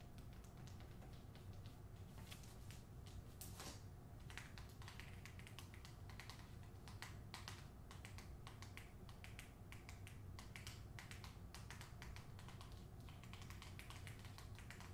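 Long nails tap and scratch the paper dust jacket on the spine of a hardcover novel turned sideways. Quick, quiet, bright clicks and soft scratching continue steadily over a low, constant rumble, with one sharper sweep near the start.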